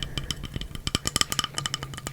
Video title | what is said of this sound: ASMR Candle Collection (soft spoken, tapping) | Beautiful glass. Sounds like plastic, but it is glass.